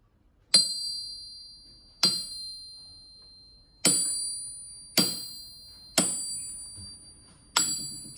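A 100-year-old, 20 kg German PFP forged steel anvil, made before World War II, is struck seven times. Each strike gives a sharp metallic onset and a high, bell-like ring that fades over about a second. The clear ring is what a sound steel anvil should give.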